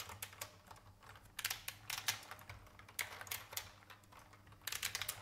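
A vintage beige IBM mechanical keyboard with plastic keys is typed on with the fingertips, giving bright, sharp clicks in irregular bursts with short pauses between them. The hands come to rest on the keys at the end.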